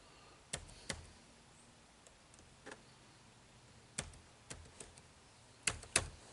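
Fingertips type on the dark plastic keys of an HP laptop keyboard, giving nine short, bright, dry clicks at an irregular pace over a quiet hiss. Each click dies away almost instantly, with a few pairs landing close together and a faint low thump under the sharpest strokes.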